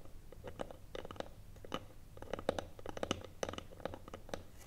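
Long nails tap the top of the lid of a small, hollow wooden box with a metal clasp, lying flat. A rapid, irregular run of short, dry clicking taps, each with a brief hollow knock around 530 Hz that dies away almost at once. Underneath is a faint low rumble.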